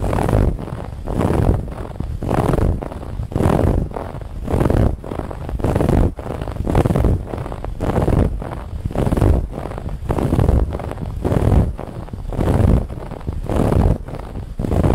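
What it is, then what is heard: Woven fabric pillow band being scratched. Fingernails rapidly and roughly scratch the woven lattice band on a soft white cushion, making a dense, rough scratching rustle weighted heavily toward the low end. The scratching comes in loud swells about once a second, with brief dips between strokes and no ringing afterward.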